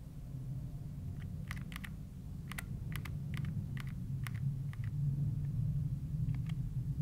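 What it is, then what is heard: Plastic handheld game console buttons. Thumbs press and click the plastic buttons of a handheld gray plastic Nintendo Switch console, held in both hands while navigating the inventory. Short, bright, irregular clicks come in quick clusters over a steady low rumble.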